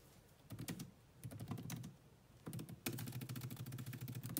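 Very fast two-handed typing with long nails on the black plastic chiclet keyboard of a grey laptop produces a dense run of key clicks. Short bursts of clatter come in spurts, then merge into a steady stream in the last second and a half. Each press pairs a low plastic thud with a bright tick.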